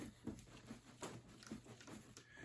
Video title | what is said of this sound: A Day in the Life of a Wheeler Dealer. Pre-Shipping Inspection and re-Packaging a Brand NEW wheel. | if you shake hard enough, something will move, but not as easily as this, right?